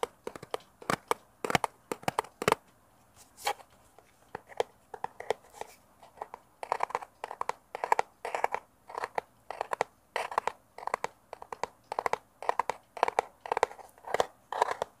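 Fingernails rapidly tap and scratch the faces of a small, hollow, rectangular brown kraft cardboard box held in both hands near a mini mic. Quick, dry, papery clicks and scrapes come in uneven bursts, with a hollow midrange tone and almost no ring or low end.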